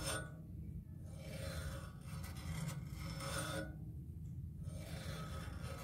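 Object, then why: Metal music stand tripod base. Fingertips and nails scratch along the legs and hub of a matte black music stand's tripod base resting on carpet. The result is a dry, rasping scrape in repeated bursts over a steady low-pitched rumble.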